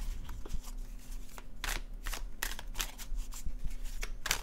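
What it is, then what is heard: Paper tarot card deck. A dark blue cardstock tarot deck is overhand shuffled with the fingertips, its cards sliding against each other. Soft papery swishes and brief bright flicks come in quick succession over a low, steady background hum.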